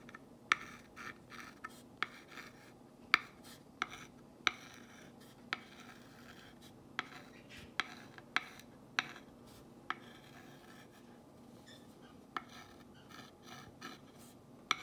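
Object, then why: Painted wooden board traced with a glass rod. A glass rod, held by fingers with long nails, traces along the distressed white lettering of a black-painted solid wooden box sign lying on a cloth on a wooden table. Soft, bright scratching and rubbing runs throughout, broken by about fourteen sharp, dry taps that die away instantly.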